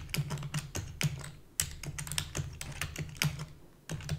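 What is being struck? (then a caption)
Plastic computer keyboard. Rapid typing with long fingernails and fingertips on a full-size black plastic keyboard with a hollow body produces a fast stream of short, dry clicks and taps. Each keystroke has a bright, crisp edge over a steady low hum and dies away almost instantly.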